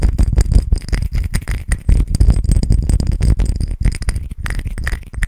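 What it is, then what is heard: Glass perfume bottle. Fingertips and nails rapidly tap and fiddle with a small, clear, square glass perfume bottle and its silver cap, held in both hands close to the microphone. The result is a dense, continuous run of short clicks, taps and light rattles over a heavy low-end thump, with bright glassy ticks scattered throughout.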